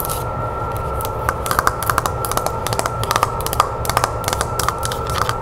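Long nails tap and scratch the beige back panel and handle of a wooden-framed hand mirror lying face down. A quick, uneven run of sharp, clicky taps with brief scratches comes over a steady high-pitched hum and a low background rumble.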